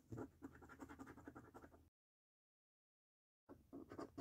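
A coin edge scratches the coating off a flat, thin £5 Snack Stack paper lottery scratch card lying on a dark table and held with fingertips. It works across the order-numbers and games areas in a rapid train of short, rough, rasping strokes. About 1.5 seconds of silence falls before the scratching resumes on another section of the same card.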